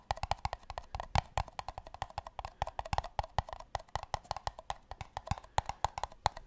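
Two empty, hollow paper cups are tapped with the fingertips close to the microphone, producing a quick, uneven run of about forty dry, hollow knocks. Each tap is woody and muted, centered around 850 Hz with a soft low thump, and dies away almost instantly. The louder taps stand out sharply from the softer ones.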